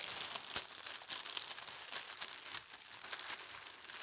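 A thin teal tissue paper sheet on a table is smoothed with the fingertips, then lifted at the edges and folded by hand. Soft, continuous crinkling and rustling is heard, bright and airy with almost no low end, punctuated by brief sharper crackles as the paper creases.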